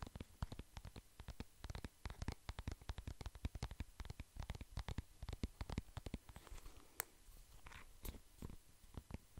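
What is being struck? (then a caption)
Plastic cream tube. A soft plastic cream tube is tapped and scratched with fingertips and nails close to the mic, giving a rapid, irregular run of dull, low-heavy taps with almost no ring. Quieter scratchy rustles and a few sharp, bright clicks come through toward the end.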